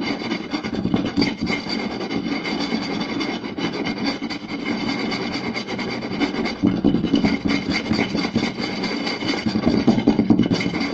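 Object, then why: Round wooden plate. Two hands scratch and tap quickly with fingertips and short nails on a round solid wooden plate. The result is a dense, continuous, irregular stream of raspy rubbing and rapid light taps, centered in the low-mid range with some brighter scratchy overtones. It stays steady throughout, with slightly louder bursts near the end.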